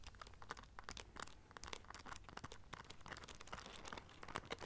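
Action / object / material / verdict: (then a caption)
tap / studded clutch pouch with rhinestones / rhinestone studs / none. Long nails scratch and tap the silver studs on a small black rhinestone-studded clutch pouch held in both hands. The result is a quiet, rapid stream of crisp, bright clicks and scratchy crinkles over a faint low hum.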